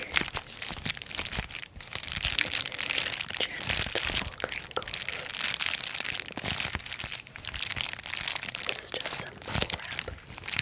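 A small flat sheet of clear plastic bubble wrap is held up in both hands while long acrylic nails and fingertips press, scratch and crinkle the bubbles. The result is a steady, dense stream of bright crinkling and crackling with many short, sharp clicks and snaps. There is very little low end.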